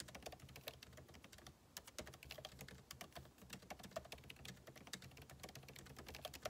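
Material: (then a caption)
Plastic. Fingertips type rapidly on the plastic keycaps of a backlit MacBook Pro keyboard set in an aluminum body. A dense, steady stream of short, crisp clicks with bright tops and a soft low thud beneath them continues throughout with only brief pauses.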